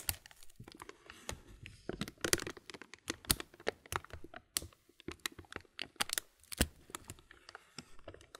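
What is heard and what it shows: A clear plastic muesli bag full of granola has the film at its corner rubbed between the thumb and fingers. It makes a dense run of quiet, bright crinkles and sharp crackles that come in short, irregular bursts, each snapping off almost at once.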